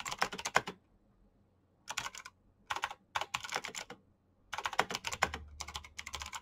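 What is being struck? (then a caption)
Plastic mechanical keyboard keycaps. Fingertips type fast on the keycaps of a black plastic backlit mechanical keyboard. Four rapid bursts of sharp, bright clacking are separated by short pauses, and each click stops almost instantly. A faint low hum sits underneath, growing slightly stronger near the end.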